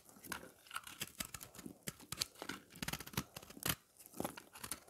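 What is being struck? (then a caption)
Pressed soap bar scraped with a knife blade. A round, dry slab of pressed green and yellow recycled soap, held in the hand, is scraped with a knife blade. It crumbles into crunchy flakes with a series of dry, bright, crackling scrapes. Each scrape is short and stops dead with no ring.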